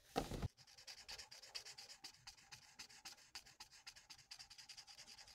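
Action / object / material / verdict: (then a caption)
scrape / felt-tip marker on paper / paper / none. A thin, flat sheet of printed paper on a table is coloured with the felt nib of a plastic alcohol marker in rapid back-and-forth strokes. A brief louder rub opens the clip, followed by a steady run of soft, dry, bright scratchy strokes that rise and fall in an even rhythm.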